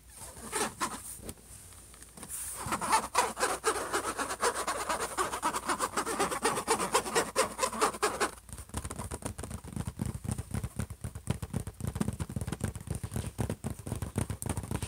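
Both hands scratch and tap a closed silver HP laptop lid with short nails and fingertips. A few soft scrapes are followed by a stretch of dense, rough scratching centered around 1 kHz. After about 8 seconds it shifts to quick, irregular tapping with dull, low thumps.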